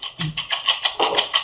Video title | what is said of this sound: Cradle to cradle for an inclusive society. Music with natural and recycled materials | So when they are dry, get dried, the seeds are inside, and you can shake it and listen to the seeds moving inside the pumpkin.